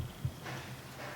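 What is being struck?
Nothing is struck.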